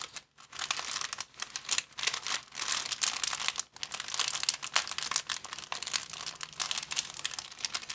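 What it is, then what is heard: Clear plastic bag. A thin, transparent, empty plastic bag of medium size is crumpled and crinkled between both hands. It makes a dense, continuous run of bright, crackly rustling with almost no low end and only brief pauses. The crackles stop short with no lingering ring.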